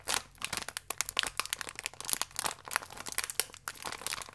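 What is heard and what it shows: A small plastic biscuit pack with the biscuit still inside is pressed and rubbed with fingertips and nails. It gives a continuous run of quick, bright crinkles and sharp little crackles, with almost no low end.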